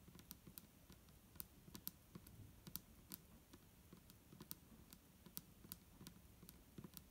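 Long nails on both hands tap quickly on the sides of an upright, clear plastic micellar water bottle with a green cap, hollow and holding liquid. The result is a quiet, steady patter of sharp, dry clicks with bright high ticks over a soft low thump, each tap dying away almost at once.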